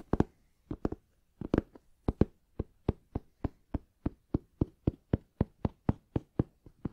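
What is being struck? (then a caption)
Fabric-covered molded hard-shell case. Fingertips tap the lid of a medium, black, rounded hard-shell headphone case, a molded shell covered in fabric, closed and hollow and held upright by hand. About 24 short, dull, hollow knocks come first in loose pairs, then settle into a steady, even rhythm. Each one is low and woody and dies away almost at once.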